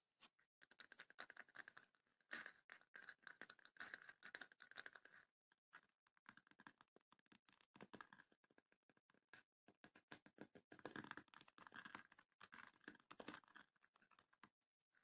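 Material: Wood, rattan.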